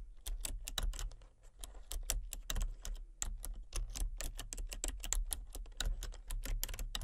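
Fingertips and nails type rapidly on a full-size plastic computer keyboard with a colour-changing backlight. Quick, sharp clicks and clacks run almost continuously, each hit bright and short with very little ring, over a steady low hum.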